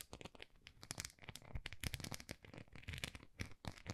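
Long nails scratch and tap the textured, dotted face of a small, solid white plastic rice paddle. The result is a quiet, dense run of dry, crinkly scratches and quick taps, with bright rasping edges over soft low thumps and no ring after each contact.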